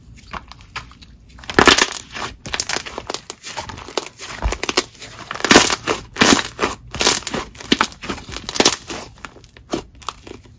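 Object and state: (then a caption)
Butter slime being squeezed. Lavender purple butter slime is squeezed in both hands, stretched into a wide sheet and pressed flat with the fingertips. It makes a run of soft, wet squishing pops and crackly bursts with bright, hissy edges and little low end, rising and falling in quick clusters.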